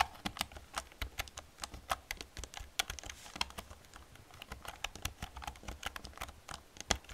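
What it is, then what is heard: Plastic computer keyboard. Long painted fingernails and fingertips tap rapidly across an old, full-size black plastic membrane computer keyboard with a hollow casing, resting on a desk. The result is a quick, uneven stream of short, bright clicks and clacks over soft, hollow low thuds, each tap dying away almost instantly.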